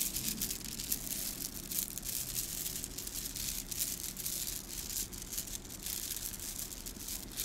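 A long strand of small, hollow gold metallic-coated plastic beads, a bead garland, is held in both cupped hands and squeezed, rubbed and shaken with the fingertips. It gives a dense, continuous, bright rattling and clicking with a soft low rumble underneath, steady in level throughout.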